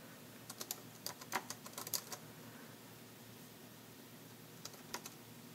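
A dark grey plastic AlphaSmart NEO word processor with a built-in keyboard and hollow body lies flat on a table while the fingertips of both hands tap on its plastic keys. Short, bright, clicky keystrokes come in an irregular burst during the first two seconds, then fall quiet before a few more taps near the end, over a soft background hiss.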